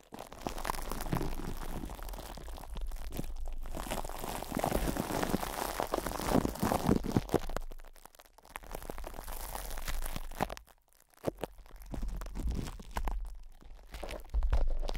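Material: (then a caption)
Plastic film. Fingertips and short nails scratch and rub cling film wrapped over a microphone's hollow metal mesh head, producing dense, irregular crinkling and crunching with a heavy low rumble. The rubbing runs almost continuously, with a few brief quiet gaps around 8 and 11 seconds and a louder burst at the end.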